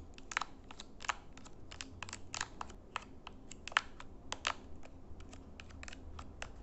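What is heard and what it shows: A small plastic IR LED remote control is held in the hands while fingernails tap and click its colored buttons and edges. A rapid, irregular series of short, dry, bright clicks plays over a faint low background noise, each tap stopping almost instantly with no ring.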